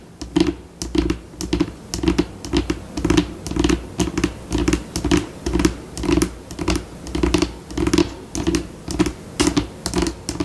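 Long pink acrylic nails on one hand scratch and tap a flat, solid white glossy tabletop, likely laminate, shifting between slower and faster passages. The result is a steady patter of sharp, bright clicks and scratchy scurrying bursts over a dull low body, each sound dying away almost instantly.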